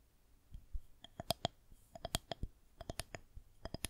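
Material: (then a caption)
Plastic. Long nails tap the top surface of a solid white plastic rolling pin held horizontally. The result is a quick, irregular series of sharp, dry clicks with a light hollow tone and bright overtones, each dying away almost instantly.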